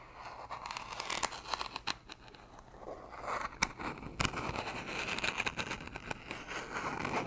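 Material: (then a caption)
Plastic. Long nails tap and scratch the white plastic cap and sides of a hollow blue plastic gummy vitamin bottle. Quick, sharp clicks mix with dry, crackly scraping, with a few louder taps standing out.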